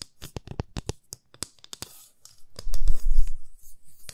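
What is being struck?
Wooden ruler tapped with fingernails.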